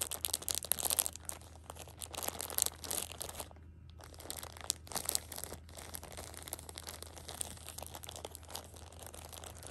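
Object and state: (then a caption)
Plastic-wrapped tissue pack being crinkled. A plastic-wrapped six-pack of pocket tissues is held at the edge while a thumb with a long nail presses and crinkles the plastic film. Dense, bright crackling and crunching runs throughout, with a steady low hum underneath and a brief quiet gap near the middle.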